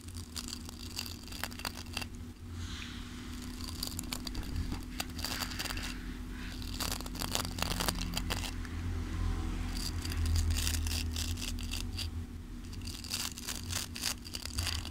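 Fingertips scratch and strum across the dense dark bristles of a long wooden-handled hairbrush held close to the microphone. Irregular bursts of crackly, bright scratching come and go over a steady low hum.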